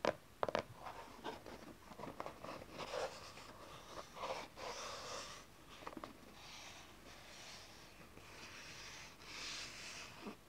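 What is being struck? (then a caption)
Small cardboard card box. Long nails and fingertips tap and scratch the cover and sides of a small, dark, closed cardboard tarot card box. Sharp, dry clicks open the clip, followed by soft, papery scratching strokes with a bright hiss that swell and fade. A final light tap closes it.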